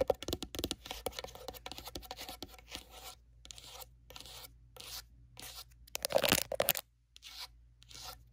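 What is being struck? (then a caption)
Hard-shell glasses case with faux-leather cover. Long nails rapidly tap the domed lid of a closed, hollow, dark grey faux-leather-covered hard-shell glasses case. The dense, crisp clicks have a scratchy edge and die away almost instantly, with a louder flurry around six seconds and a brief pause before the last few taps.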